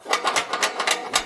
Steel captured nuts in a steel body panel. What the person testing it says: You can see them move or at least you can hear them move.